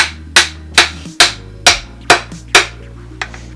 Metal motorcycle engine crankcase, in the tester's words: that Hollow sound oh yeah it's splitting